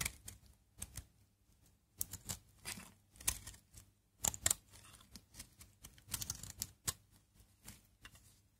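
A utility knife blade scrapes crunchy green-brown shavings off a solid, dry Aleppo soap bar that has been carved down to its green interior, held in the palm. Short, bright, crackling scrapes and crunches come in quick irregular bursts with brief pauses between them.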